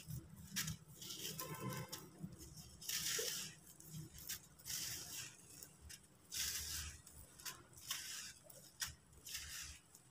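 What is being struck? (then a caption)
Sand-cement disc. Bare fingertips squeeze and rub a small, solid, dry, crumbly sand-cement disc apart over a pile of loose sand and other discs. Bright, gritty crunching and crackling comes in irregular bursts over a faint low rumble. The disc crumbles into grains.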